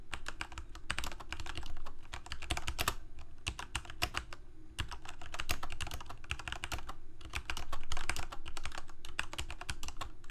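A full-size Corsair mechanical keyboard with plastic keycaps on mechanical switches, a hollow plastic case and blue backlight is typed on rapidly by the fingertips of both hands. Dense, irregular clacking key presses form bright clicks over a deep, hollow low thump that rises and falls in bursts. The typing runs steadily for about ten seconds without a pause.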